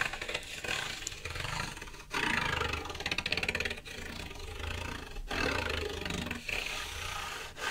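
A stiff, flat, thin sheet of white card stock is held in one hand and scratched with the fingernails of the other hand. It makes a continuous, bright, rasping scrape with a low rumble underneath, broken by a few brief pauses between strokes.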